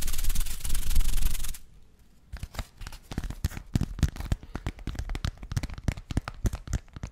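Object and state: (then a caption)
Paper greeting card scratched with fingernails. A red, flat, thin folded paper greeting card with raised silver glitter letters spelling LOVE is held up and scratched and rubbed with fingernails over the textured letters. A dense, loud rubbing hiss runs for about a second and a half, then it goes quiet before a rapid, uneven series of crisp scratching clicks fills the rest of the clip.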